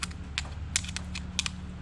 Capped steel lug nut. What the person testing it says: It's a hollow sound, so it's hollow in here. It's really thin layer of metal